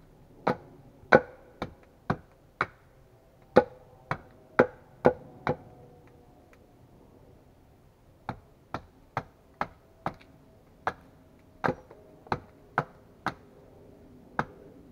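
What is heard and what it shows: A large solid wooden log resting on a chopping block is hewn with repeated steel axe strikes. Twenty-one sharp, woody chops land in two bursts separated by a pause of about two seconds. Each chop decays quickly, and a faint tonal ring of around 500 Hz lingers after several of them.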